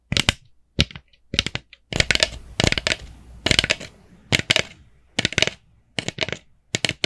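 A small hollow orange plastic jack-o'-lantern bucket with a black handle is tapped with long nails on its top and sides. The result is quick bursts of sharp, bright clicks with very short ring, grouped in uneven clusters separated by brief pauses.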